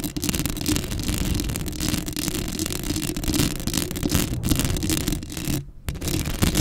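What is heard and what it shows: Long acrylic nails scratch the hollow metal mesh grille of a black Blue Yeti microphone up close. The scratching is steady and dense, with a heavy low rumble under a rough, brushy hiss and a short dip in the sound near the end before it picks back up.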